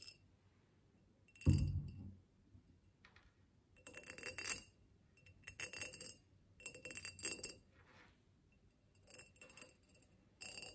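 A tall, ribbed clear glass vase holding dried grass, hollow with a little water in it, is tapped and scratched with long nails. Bright clinks and scratchy bursts come in several separate clusters, with a heavier low thump near the start and quick, short rings that fade almost at once.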